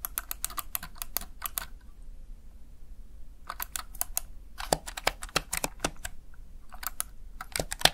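Fingertips repeatedly tap and press the keys of a small backlit plastic Razer Tartarus Chroma gaming keypad. The result is bursts of sharp, bright clicks with very short decay, separated by a quiet pause of about a second and a half near the start and a shorter pause later, over a steady low hum.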